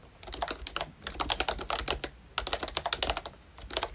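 Fingertips of both hands type continuously on a ROYCHE Disney Mickey Mouse themed full-size retro membrane keyboard with round plastic keycaps. The result is a steady run of short, soft, bright plastic clicks and taps with almost no ring, briefly easing off in a short pause partway through.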